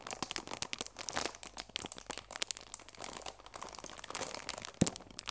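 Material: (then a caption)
Plastic film. A rectangular cardboard chamomile tea box, apparently full and sealed in clear plastic wrap, has its wrap crinkled and pressed with fingertips and long nails. Dense, bright crackling and crinkling comes in rapid bursts with many sharp taps, and one louder crack stands out near the end.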